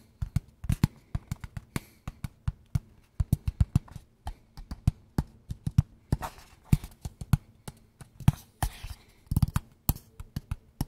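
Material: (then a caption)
Cardboard. A closed, hollow, small square kraft cardboard box is held in both hands and tapped with fingertips and nails. About forty quick, dull, hollow taps are heard in an irregular rhythm, with a low, thumpy tone and almost no ring after each hit.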